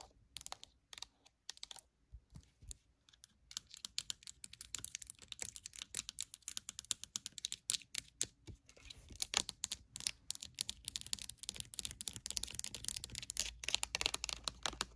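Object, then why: Plastic lotion bottle with pump. Long acrylic nails tap quickly on the side panel and black plastic pump head of a pink rectangular plastic lotion bottle that appears full. The taps are crisp, bright clicks with almost no ring, centered around 2.9 kHz. They start sparse and quiet, then grow into a dense, steady patter from about nine seconds on.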